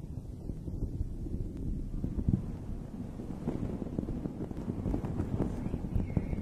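A hand with long red nails lightly scratches and rubs the surface of a rounded, fist-sized, dome-shaped fuzzy fabric cover over a microphone. The result is a continuous, muffled low rustle and scraping with soft, dull brushing strokes and no bright edge, swelling slightly in loudness toward the end.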